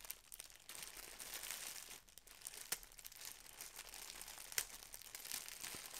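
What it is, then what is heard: Plastic bag being crinkled. Both hands, using fingertips with short nails, squeeze and crinkle a small, soft, full, thin clear polyethylene shipping bag with a red Target logo, wrapped tightly around a folded striped garment on a cloth-covered table. The result is a quiet, steady, bright crinkling rustle, mostly high in tone, with a couple of sharper crackles standing out.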